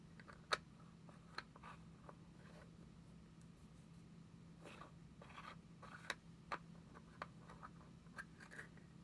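A small round white plastic Nivea cream jar, held in the hand, is lightly tapped and scratched with long nails. Seven sharp, short taps stand out over soft, bright scratching and faint rustling. A steady low hum sits underneath throughout.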